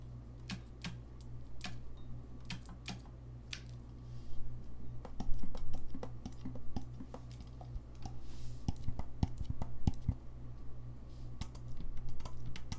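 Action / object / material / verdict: tap / brass saxophone keys / brass / none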